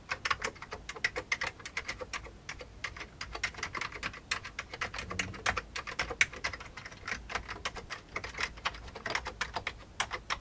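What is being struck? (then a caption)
Plastic computer keyboard. An old beige plastic computer keyboard is typed on with the fingertips of both hands. A rapid, uneven stream of short, sharp plastic clicks and clacks, bright and crisp, fills the whole clip. Each keystroke dies away almost instantly over a faint low background hum.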